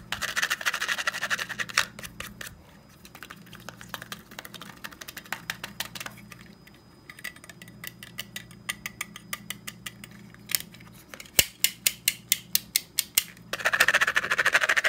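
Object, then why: Plastic and metal stapler. Fingertips quickly tap and scratch the top of a closed, hand-sized black plastic and metal stapler. Dense, bright scratching at the start and end frames a quieter stretch of light clicking taps. Toward the end, louder, sharply separated taps come in a fast, uneven rhythm, each dying away almost instantly over a faint low hum.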